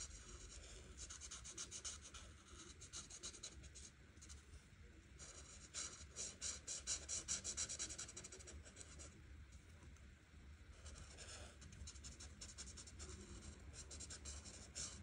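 A marker's felt tip is rubbed in small, quick, scratchy strokes over a thin printed paper coloring page lying flat on a table, working around the flower shapes. The result is a steady, bright, papery scratching that swells louder in bursts, most strongly around the middle of the clip, over a faint low hum.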